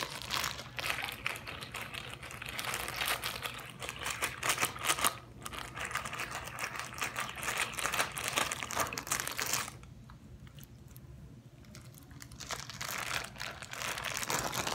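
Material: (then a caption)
Plastic. Fingertips squeeze and crinkle a small clear plastic zip-lock bag with a green seal, held in both hands and partly filled with water and blue bits, sloshing the water inside. Dense, bright crackling and crinkling runs steadily with a low background hum, drops to a quiet lull for about three seconds near the end, then resumes.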